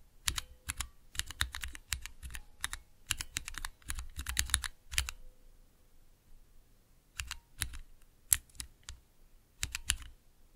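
A small 3x3 switch tester with clear plastic keycaps on Cherry MX switches in a clear plastic base rests on dark velvet while fingertips press and tap the keys. Rapid bursts of sharp, bright clicks and clacks with a low thock beneath stop dead with no ring. Dense flurries through the first five seconds give way to sparser, scattered presses after a short pause.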